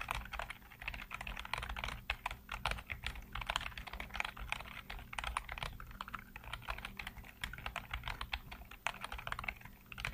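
Fingertips rapidly tap and type on the keys of a full-size black plastic computer keyboard with hollow keycaps, heard up close. Dense, quick clicks and clacks with bright, sharp attacks run continuously over a steady low hum, with short bursts of faster typing throughout.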